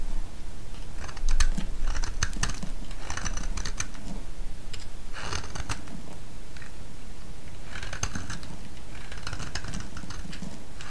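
A small, solid cream-coloured bar of soap is carved into ridged slices with a utility-knife blade. Repeated cutting and scraping strokes give crisp, bright clicks and rasps in clustered bursts over a steady low rumble.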